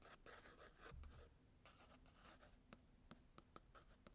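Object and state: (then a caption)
Pencil scratching on sketchbook paper. A blue graphite pencil held in the fingers scratches and hatches lines across the tan toned paper of a spiral-bound sketchbook lying flat on a desk. Quiet, dry scratching strokes rasp across the page at first, then give way to short, sharp ticks of quick hatching marks.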